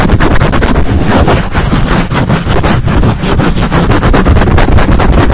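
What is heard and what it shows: A black soft foam windscreen fitted over a condenser mic head is rubbed and scratched rapidly with long nails and fingertips. The result is a loud, continuous, muffled scratching roar, heavy in low rumble with little high end, pulsing with fast, tightly packed strokes.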